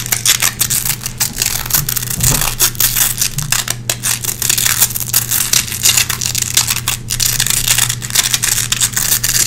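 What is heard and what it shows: Long red-painted nails scratch and pick across the hooks of a small gray nylon velcro hook patch lying on a wooden floor. Dense, bright, crackly rasping comes in quick, uneven strokes for the whole clip over a steady low hum.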